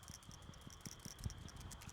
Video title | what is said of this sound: Changing a Subaru Forester PCV Valve and Intake Filter- How To | You can hear it nice and clean.